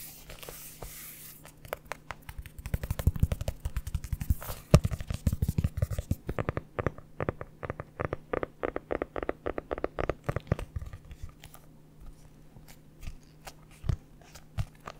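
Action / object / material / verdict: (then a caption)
tap / hardcover notebook cover / cardboard / none. Long nails scratch and tap on the cover of a red hardcover notebook held close to a microphone. The result is a dense run of short, dry clicks and scrapes with a low, muffled body and almost no ring.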